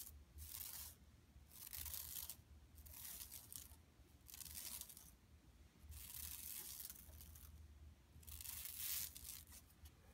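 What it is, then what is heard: Plastic mesh shopping bag. Long nails scratch across an empty, flat yellow woven plastic mesh tote bag resting on carpet. Bursts of bright, raspy scratching alternate with short quiet pauses over a faint low hum.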